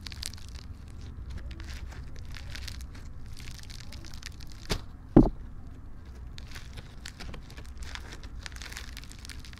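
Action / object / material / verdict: scrape / slime with polystyrene foam beads / slime, polystyrene / none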